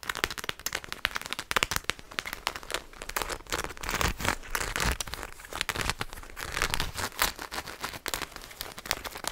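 A black fabric strap with a purple print, hanging from a black nylon parka, is held up and scratched with fingertips and nails. The result is a steady run of dry, bright, crinkly scratching with rapid clicks and crackles that swell and fade throughout.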